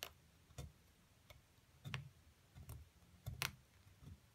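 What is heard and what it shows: A solid white plaster block, held in one hand, is scraped repeatedly with a small metal seafood pick to dig out a shallow hollow as crumbs gather on its surface. Seven short, dry scrapes and ticks sound at an uneven pace, each a bright crisp scratch with a soft low thump, separated by quiet gaps.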